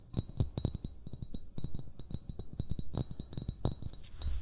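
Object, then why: Glass bottle. An upright, hollow amber glass bottle is tapped rapidly with short fingernails and fingertips. The result is a quick, irregular run of dull, low knocks, each with a bright, glassy clink that dies away almost at once.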